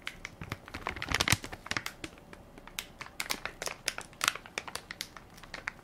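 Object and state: Plastic baby wipes pack crinkled.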